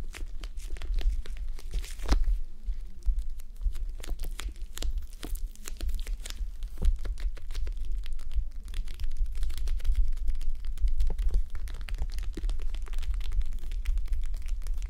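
Long nails scratch and fingers press the beaded surface of a red plastic gel bead eye mask resting on a mannequin head. The result is a steady stream of dense, sharp crinkly clicks and scratches that reach into the high range over a constant low hum.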